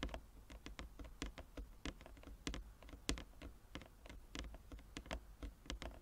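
Fingernails of both hands tap quickly and irregularly across a large, flat, inlaid wooden chess board. The result is a quiet, steady patter of short, bright, clicky taps that die away almost at once, over a faint low hum.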